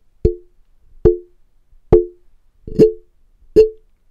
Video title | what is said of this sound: Why Does Podcastage Tap on Microphones? - Microphone Resonance | you can clearly hear that there is an actual tone being generated whenever you touch the microphone or if you scrape the grille